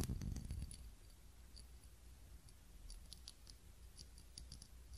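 A small ribbed glass candle holder with a lit candle is scratched and tapped with long nails. A louder, low rumbling burst of scratching opens the clip, then quiet, irregular clicks and sharp, bright ticks follow over a soft low hum.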